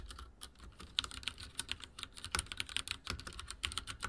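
Fingertips of both hands type rapidly on a full-size backlit mechanical keyboard with dark plastic keycaps and linear switches, resting on a wooden desk. The result is a quick, uneven stream of short, bright plastic clacks that stop almost instantly, centered around 3.4 kHz, with a light low thump under the heavier strokes.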